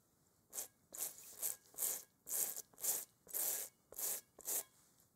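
A gloved hand scrubs a large, hollow, textured rubber kickball (a playground ball) with a toothbrush while holding it over a bowl. The bristles make a series of short, bright, hissing scrubbing strokes at a steady, unhurried pace, with brief quiet gaps between them.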